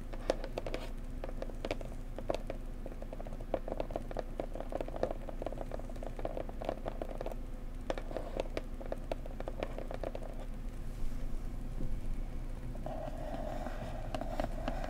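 Fingernails tap on the sides of a blue floral cardboard gift box, then fingers tap on its top surface. The quick, soft, dry taps carry a hollow mid tone over a steady low rumble.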